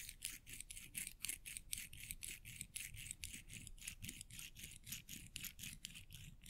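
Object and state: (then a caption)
Metal coins rubbed together. A small stack of solid silver metal coins is pinched in the fingertips and rubbed and clicked against each other. Quiet, bright metallic clicks and scrapes repeat at a loose, uneven pace of about two per second, with a soft low rustle underneath.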